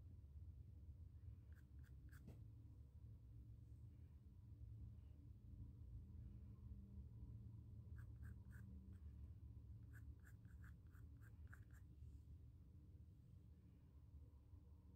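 A pencil tip draws short strokes across the woven surface of a small, square, white stretched cotton canvas panel. Brief, dry scratching ticks come in clusters near the start, the middle and later on, over a steady low, quiet hum.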